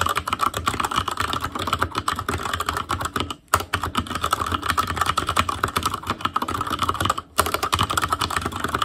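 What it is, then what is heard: Mechanical keyboard with plastic keycaps. Fingertips of both hands type continuously on an ASUS ROG Claymore Core mechanical keyboard with Cherry MX Red switches, black plastic keycaps on a metal frame, and a hollow RGB-backlit housing. A dense stream of short, clacky taps rings with a bright tone around 1.35 kHz. The typing stops briefly near 3.4 and 7.3 seconds.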